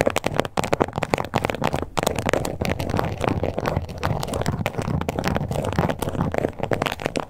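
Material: Faux leather.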